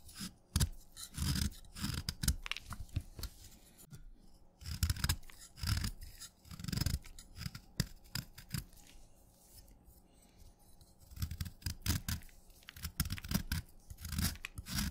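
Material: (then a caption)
Chalk. A steel knife blade scrapes a short, solid piece of wet red chalk, breaking it into flaky crumbs. Repeated crisp scraping strokes and crunchy crackles come in irregular bursts, with bright grit over soft low thumps from the blade and chalk. Each stroke dies away almost at once, with quiet pauses between them.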